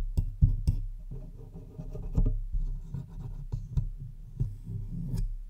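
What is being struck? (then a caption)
Metal USB microphone body. Long white-tipped acrylic nails tap and scratch the hollow metal body and front control knobs of a large black Blue Yeti USB microphone standing on its stand. The result is an irregular run of dull, low, thumpy knocks over a continuous rubbing scratch, each tap dying away almost instantly with no ring.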